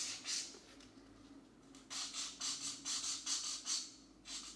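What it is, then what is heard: Felt-tip marker coloring on paper. A green felt-tip marker rubs back and forth across a paper coloring book page to fill in a section while a fingertip steadies the paper. About seven bright, scratchy strokes rise and fall in an uneven rhythm, with quieter rubbing between them over a faint steady low hum.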